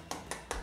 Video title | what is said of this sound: बची हुई रोटी से बनाये टेस्टी गुलाब जामुन - Leftover Roti - Basi Roti Recipe - Basi Roti Gulab Jamun | ये कितनी कुरकुरे सी हो गई है